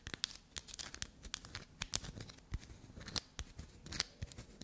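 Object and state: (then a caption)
Black soap bar scraped with fingernails. Long black nails quickly scratch and scrape the surface of a small, solid piece of black soap held between the fingers, flaking bits off. The sound is a rapid series of crisp, bright, crackly scrapes and short dry ticks with a soft low rustle underneath.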